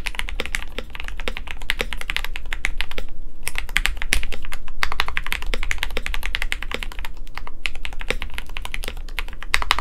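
Fast, continuous typing on a KBD67 Lite compact 65% mechanical keyboard with lubed Gateron Yellow switches, a white plastic case, a polycarbonate plate and PBT keycaps, with both hands tapping the keys with fingertips. Dense, short, bright key clacks run steadily over a low, constant rumble, with brief pauses near 3 and 7.5 seconds.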